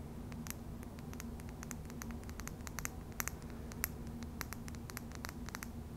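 A small clear glass serum bottle with a yellow label and a dropper cap, hollow and seemingly partly filled, is held in the fingertips while long dark purple nails tap and scratch its glass sides. The result is many quick, bright clicks and scratches with almost no ring, heard over a steady low hum.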